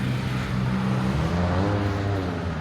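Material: Nothing is struck.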